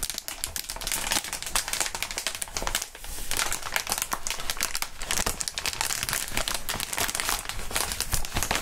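Clear inflated plastic air column cushion wrap, its air-filled tubes squeezed, waved and crinkled by hands in fingerless gloves. Dense, continuous crinkling and crackling fills the clip, bright and papery with rapid overlapping snaps, briefly thinning before resuming.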